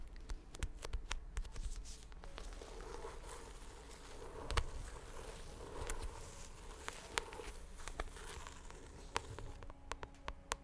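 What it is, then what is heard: Paperback book cover tapped with nails. Long acrylic nails tap and scratch the thin glossy card cover of a medium purple paperback book held upright, its solid paper block behind it. Quiet, dry, sharp clicks come in an irregular run, with soft scratchy rustling between them and a dull low body under each tap. Every tap dies away almost at once.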